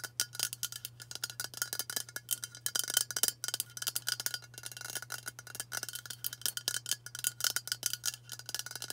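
Long nails tap rapidly on a hollow aluminium White Dove aerosol deodorant spray can, producing a fast, continuous stream of bright, dry metallic clicks with a light ringing tone around 3 kHz. Each tap dies away almost instantly, and a faint steady low hum runs underneath.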